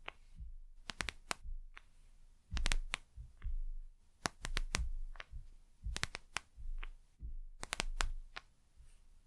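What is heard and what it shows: A gel eye mask with a plastic cover is held in one hand while long nails of the other hand scratch and tap its plastic face. Sharp, bright clicks and ticks cut through soft, low crinkly rustling in an uneven, irregular rhythm, with a few quiet pauses between bursts.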